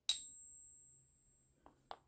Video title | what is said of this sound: Silver & Gold Coin Ping Tester - Coin Collecting Supplies | got a little ring to it